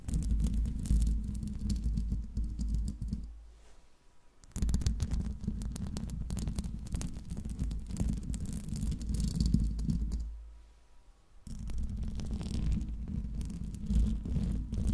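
Long nails and fingertips scratch the hollow steel mesh grille of a silver Blue Yeti microphone, producing a dense, rumbling, scratchy texture concentrated in the low end. The scratching fades into two brief near-silent pauses, around 3.5–4.5 s and 10.5–11.5 s, before resuming at full strength.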